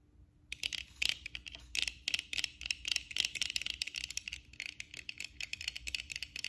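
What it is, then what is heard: Plastic-framed eyeglasses tapped with nails. After a brief silence, long acrylic nails on both hands tap rapidly on the black plastic frame and lenses of eyeglasses worn on the face. The result is a dense, uneven stream of crisp, bright clicks with almost no low end and no ring, and rings on the fingers may add small extra clicks.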